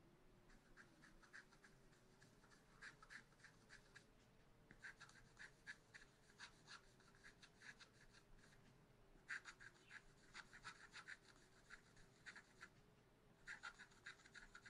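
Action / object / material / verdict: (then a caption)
scrape / coated scratch art paper scratched with a wooden stylus / coated paper / none. A wooden stylus scratches fine lines into the black coating of a scratch art paper sheet in a spiral notebook. Quiet, dry, bright scraping strokes come in rapid runs, broken by a few brief pauses, over a faint steady low hum.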